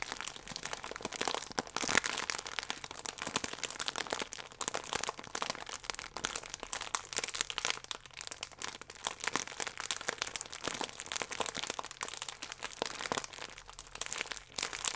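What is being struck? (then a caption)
Thin plastic food wrapper. A plastic croissant bag is held at an angle while fingertips and nails squeeze and rub its sealed end. The result is a steady, dense crinkling with sharp crackles that is bright and crisp, with almost no low end.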